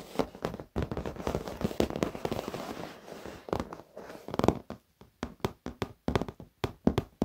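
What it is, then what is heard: Leather office chair. Rapid fingertip and short-nail tapping with both hands on the top edge of a black padded leather office chair. The first half is a dense, continuous run of soft, low-mid thuds and crackly taps. The second half breaks into sparser, separated knocks with short silences between them.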